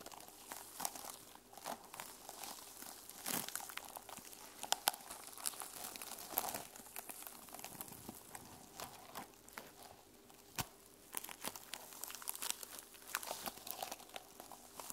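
Long nails scratch the teal plastic sequins covering a small notebook held in the hands. A quiet, steady crinkling rasp runs throughout, bright and thin with little low end. Sharp little clicks and ticks pop out above it.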